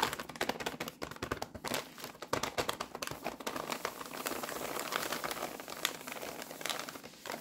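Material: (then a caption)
Paper. A full, rectangular paper-wrapped pack of Ryvita rye crispbreads in printed wrapping, resting on a tea towel, is rubbed, pressed and crinkled by fingertips with long nails. Dense, dry crinkling and crackling fills the clip with quick, bright ticks and almost no low end, busier at the start and settling into a steady rustle.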